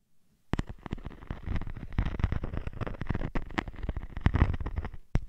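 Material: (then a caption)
Sequins. A hand with long nails rubs and scratches a teal sequined, glittery textured sheet draped over a dummy head. After a brief quiet start, dense crackly scratching and rustling run through the rest of the clip, with many short, sharp clicks over a heavy low rumble. A few louder scrapes stand out near the end before a final burst.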